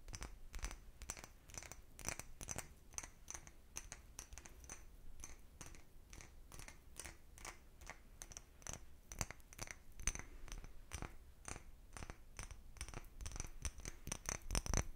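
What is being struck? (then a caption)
Small cut-glass bottle. A small empty clear cut-glass bottle is held upright and tapped with fingernails. Quick, bright clicks with a faint high ring repeat rapidly and irregularly over a low background hum, with some taps louder than others.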